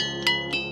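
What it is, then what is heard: Ringing boulder. A ringing boulder in a field of rocks is struck twice, each strike giving a brief, bright bell-like tone. The tone centers around 2 kHz with steady metallic overtones and rings on between and after the hits. This boulder is one of the rocks that rings.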